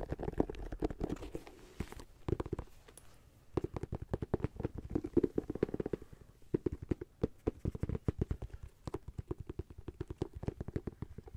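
Fingernails scratch along the ridged rubber sidewall of a white sneaker's textured grey-white rubber sole. The result is a rapid run of short, dry, clicking scrapes with a low, muffled body, plus a brief lull around the three-second mark. The passes then speed up and continue steadily to the end.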